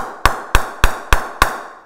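Five sharp taps on the sweet spot of a 2017 Gray-Nicolls Signature willow cricket bat, each a crisp ping with a brief ring. The response is strong, with a lively rebound.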